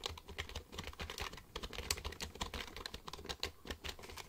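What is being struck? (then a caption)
Plastic computer keyboard. Fingertips rapidly type on the keys of a black plastic computer keyboard held upright. Quick, dry, bright clicks and clacks patter in an uneven stream over a soft low thud beneath them, each keystroke dying away almost at once.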